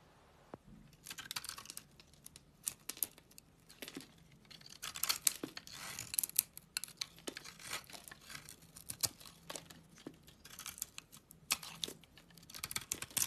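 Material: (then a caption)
Soap. A utility knife blade scrapes and shaves thin curls off a small, solid bar of old, dried orange-yellow soap held in the hand. The sound is a quiet run of dry, crisp, bright scraping and crackling strokes with sharp little clicks. The strokes come in irregular bursts with brief pauses between them.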